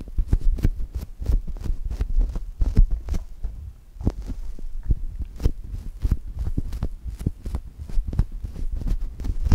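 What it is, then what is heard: Foam toast squishy. Two index fingertips press into and rub a brown polyurethane foam chocolate toast squishy, making a rapid, steady run of soft, dull, low thumps. Each press is short and muffled, with faint bright crackles at the edges and almost no ring between presses.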